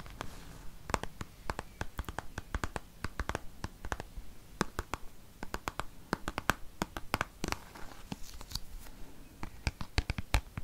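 A hand-sized, dark green soft plastic cosmetic squeeze tube with a cap, hollow and seemingly partly filled, is held close and scratched and tapped with fingertips and nails. Quick, dry clicks and taps come in an irregular stream over a soft, low scratching rustle, each one dying away almost instantly.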